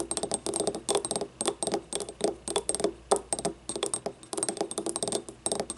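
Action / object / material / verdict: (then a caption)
tap / small ribbed ceramic cup / ceramic / none. Long nails tap and scratch quickly on the wall of a small, hollow, yellow ribbed ceramic paint cup that stands upright and empty. The result is a rapid, irregular run of short, dry clicks with a hollow tone around 400 Hz and bright, high scratchy edges. Each click fades almost instantly.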